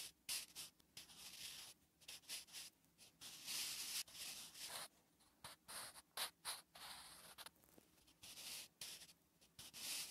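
A wooden graphite pencil writes Korean letters on a flat, solid lined paper notebook page, making dry scratching strokes. The strokes come in quick, irregular bursts of bright, high-pitched rasp with almost no low end, each stopping sharply with short quiet gaps between.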